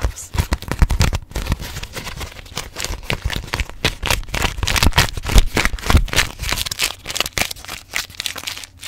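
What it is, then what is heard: Beeswax-coated fabric food wrap. A folded grey hexagon-patterned beeswax-coated fabric food wrap is gripped, crinkled and scratch-tapped with long nails. The result is dense, irregular crackling and scratchy taps with a low thump underneath.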